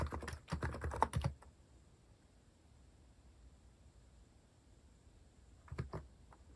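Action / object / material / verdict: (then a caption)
tap / plastic mechanical keyboard / plastic / none. A compact white-cased mechanical keyboard with plastic cat-themed keycaps and a hollow case, resting on a wooden desk, is typed on steadily with bare fingertips. A quick run of dry, deep-bodied clacks with very short decay fills the first second or so, then fades to a faint hiss before a brief second flurry of keystrokes near the end.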